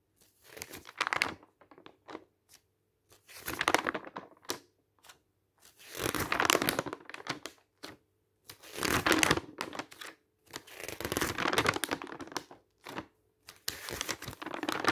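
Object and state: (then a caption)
Glossy paper brochure, pages turned and crinkled. Fingers wearing rings turn the pages of an open travel brochure made of glossy coated paper, and each turn crinkles and rustles the stiff sheets. About six bright, crackling bursts come a couple of seconds apart, with short quiet gaps and faint small rustles in between.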